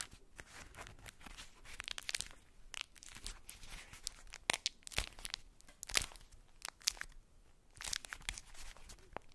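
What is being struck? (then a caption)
Ball wrapped in tissue paper. A ball wrapped in polka-dot tissue paper is cupped in the hands, crinkled and scratched with long nails. A quiet, bright, papery crinkling and rustling runs throughout, broken by sharp, dry crackles that stop instantly with no ring.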